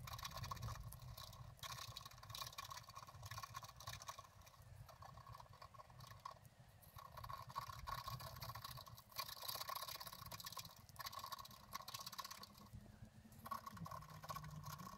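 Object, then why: Scratch art paper card scratched with a wooden stylus. A wooden stylus scratches a flat black-coated scratch art card lying on a table, working near the bottom flowers while the other hand rests on the card. Steady dry scraping strokes with a bright, hissy texture run throughout, broken by a few brief pauses. A faint tone sits around 1.1 kHz over a soft low rumble.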